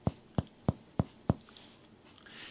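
Chest percussion on a patient: a fingertip pressed firmly on the chest wall over an air-filled lung is hammered by another finger. Five dull, low, hollow taps sound at even intervals, each dying away quickly. This normal hollow note is resonance, with no abnormality.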